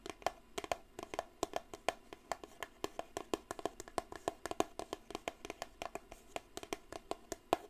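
Long blue nails tap and scratch the sides of a small, upright, grey-and-white Eau de Cartier cardboard perfume box held in one hand. A quick, steady stream of soft, dry, hollow clicks centers around 700 Hz, and each tap dies away almost instantly. Faint scratchy friction fills the gaps between taps.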